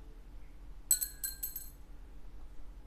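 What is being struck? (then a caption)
Synthetic bone guitar saddle. A synthetic NuBone bone guitar saddle is dropped again and bounces about five times, giving short, bright clinks with high ringing tones over a faint low hum. The clinks ring briefly and fade within about a second.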